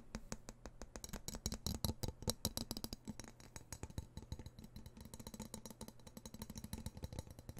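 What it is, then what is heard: Steel knife blade. Fingertips tap and scratch along a solid steel knife blade held close to the microphone, making a rapid run of dense, sharp clicks and scrapes with bright metallic tops. Each tap dies out almost at once, over a steady low hum.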